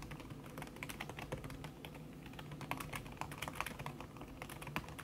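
Fast typing with fingertips and long red-painted nails on a thin backlit aluminium keyboard whose plastic keys are covered by a red silicone skin. It makes a dense stream of soft, muted clicks and taps over a low hum, with brief brighter nail clicks standing out.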